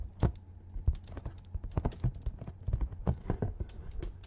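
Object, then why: Cardboard box. Fingernails tap a hollow, medium-sized printed cardboard retail box held in front of the microphone. The result is a quick, irregular run of short, dry taps, each a bright click over a hollow, low thump that dies away almost at once.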